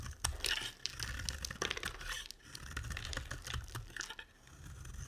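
A utility knife blade carves a solid, rounded pink bar of soap, and the shavings pile up. Dry, crisp scraping and shaving strokes repeat in quick succession with bright edges over a faint low rumble.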